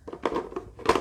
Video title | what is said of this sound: HAUL of ITEMS I got for free this week! Clothing, bags, jigsaws, games to sell on eBay for profit | you can hear the ringer when you rattle it